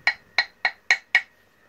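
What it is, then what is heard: Motorcycle engine metal part, dull knock. A new metal engine part for a Yamaha Vixion/R15 motorcycle is knocked on the same spot five times, for comparison with the older version of the part. Each strike is a short, dull knock with a bright tone around 2 kHz that dies away almost at once. It sounds duller than the old part, which is held to be the stronger one.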